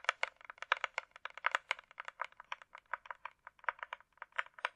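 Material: Plastic.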